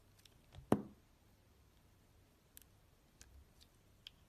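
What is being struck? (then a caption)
Glycerin soap bar scraped with a metal blade. A metal utility-knife blade slices and scrapes thin curls along the edge of a solid rectangular bar of translucent red glycerin soap with opaque pink cubes inside, held in the palm. One soft, dull cut stands out early, with a brief low thud. It is followed by several faint, short clicks and scrapes over a quiet background.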